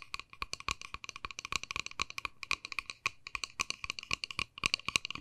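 Long nails tap fast on a small, hollow, white-and-pink plastic case as it is turned in the hands. Dozens of quick, bright clicks come in uneven bursts with a hollow tone around 2.4 kHz, and each one stops almost instantly with no ring.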